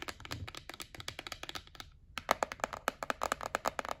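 Long nails tap quickly and rub across the lid of a white printed cardboard gift box held up in the hands, making crisp, dry clicks. The taps pause briefly at about two seconds, then return louder and more hollow-sounding.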